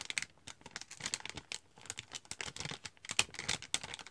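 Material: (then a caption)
Foil plastic. A partly full cocoa powder packet, a glossy foil-plastic bag held in both hands, is crinkled and scratched with long nails. The result is a quick run of sharp, bright crinkles and scratchy clicks with almost no low end, each snapping off at once.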